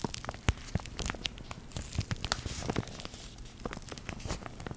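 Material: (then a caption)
Plastic. A small flat translucent plastic pouch with a printed label and contents inside is held in both hands and crinkled and squeezed by fingertips and long decorated nails. Dense, irregular crackling and crinkling with sharp, brief snaps sits over a low, soft rustle throughout.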